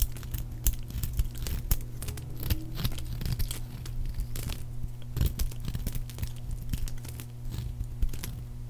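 A palm-sized, solid pink oval bar of dry soap is held in the hand and cut and scraped with a metal blade into crisp chunks and flakes. Quick, dry crunching and crackling cuts come in a rapid, uneven stream over a steady low hum.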